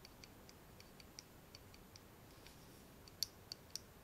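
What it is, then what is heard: Steel folding knife, fingertip taps. An open pocket folding knife with a steel blade and bolster and a solid dark handle is held in both hands while fingertips and nails tap and rub along the blade and bolster. Thirteen quiet, bright, dry clicks come at an uneven pace over a soft hiss, and the last three are sharper and louder.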